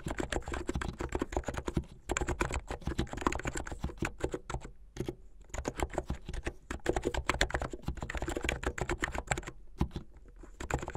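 Fingertips with long painted nails type fast on a plastic keyboard with white keycaps and blue backlit keys. Rapid, dense clacking keystrokes with a solid low thud come in bursts, broken by brief pauses near two, five and ten seconds.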